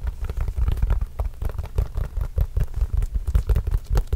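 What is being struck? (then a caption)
Leather basketball. Fingertips tap and scratch a hollow, inflated Spalding autographed leather basketball in a quick, continuous run of soft, deep thumps. The sound is muffled and boomy, with almost nothing bright, and each tap dies away almost at once, broken by faint scratchy rustles.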